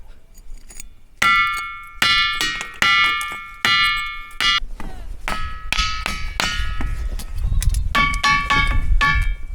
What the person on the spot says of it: on a roche qui fait un son métallique